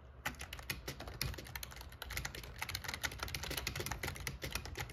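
Fingertips type rapidly on the black plastic keycaps of an RGB plastic membrane gaming keyboard with a metal plate. A steady stream of quick, bright clicks and clacks with short decay is heard over a low hum.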